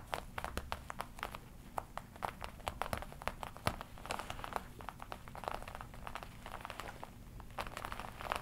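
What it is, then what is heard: Leather jacket. Fingertips tap and scratch the black leather chest panel of a worn red-and-black smooth leather jacket. A quiet, steady stream of quick, sharp taps mixes with soft crinkling and scratching over a low background hum.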